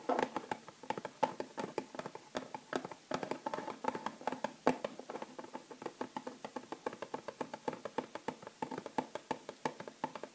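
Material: Cardboard.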